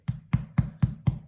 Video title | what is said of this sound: How to make a foolproof loaf of white bread and sesame crusted rolls | we have a tap underneath. If it sounds hollow, it's ready.